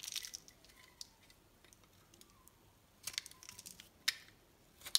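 A hand-sized solid pink bar of soap is held in one hand and carved with a metal knife blade, which scrapes and shaves off thin curls of soap. Soft, bright, crisp scraping and crunching strokes come in irregular bursts, with near silence between them and a sharper stroke near the end.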